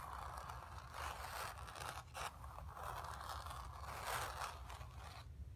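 Long nails on both hands scratch the surface of a square, acrylic-painted stretched canvas on a wooden frame, hollow behind and resting on carpet. The result is a continuous dry, papery scraping and rustling that swells in short bursts, with a brief dip and sharp flick just after two seconds, over a faint low hum.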